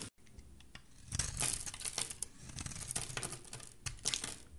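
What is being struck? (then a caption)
Bar of soap. A black-handled metal blade shaves the edge of a solid white bath soap bar held in the hand, peeling off white curls. The sound is a dry, crisp, bright scraping and crinkling with a low undertone, swelling in bursts through the middle and again near the end.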